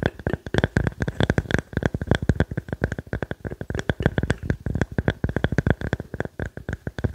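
A small, round, solid wood slice with growth rings is held in the hands and tapped and scratched with fingertips and nails. About 49 quick, dry taps come in irregular bursts, each a dull low knock that dies almost at once, with light scratching between them.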